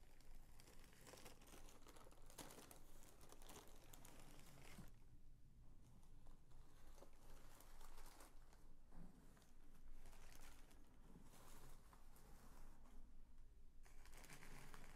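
A large mint green tissue paper sheet is lifted, shaken open, laid flat and smoothed with both hands. Its soft, continuous crinkling and rustling carries through the clip, with brief quieter lulls and a steady low hum underneath.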